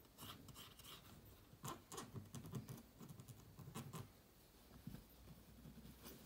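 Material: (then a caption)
Plastic. A toothpick held by hand scrapes and clicks along the vent slot and screw holes on the underside of a closed white laptop with a vent grille. Quiet, uneven scratching and low, soft tapping are punctuated by short, bright clicks, with no lingering ring between strokes.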